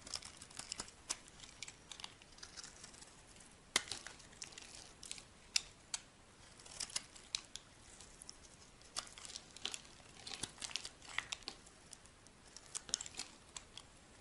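A solid white rectangular bar of soap, held in the hand, is shaved into flakes with a metal knife blade. The result is dry, crisp, bright scraping and crackling with many short, sharp clicks at an irregular pace, with almost no low end.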